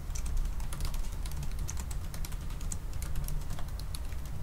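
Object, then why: Laptop keyboard with plastic keys in an aluminium body. Both hands type fast with their fingertips on a silver aluminium laptop with black plastic keys. The result is a continuous stream of light, bright key clicks over a steady low rumble that dominates the sound.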